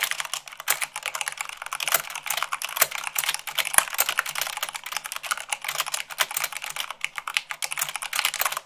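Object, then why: Plastic mechanical keyboard. Long pink nails and fingertips type fast, at about 98 words per minute, on a full-size mechanical keyboard with white plastic keycaps on a black frame. A dense, steady stream of bright, crisp plastic clacks follows, each very short with almost no low end, a few landing harder than the rest.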